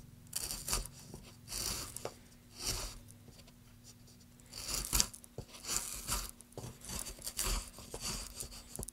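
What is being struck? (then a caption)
Wooden plank cut with a metal gouge. A metal gouge tip cuts and scrapes the textured surface of a solid light wood plank in short strokes. Each stroke makes a bright, dry, rasping scrape that stops quickly, over a faint steady low hum.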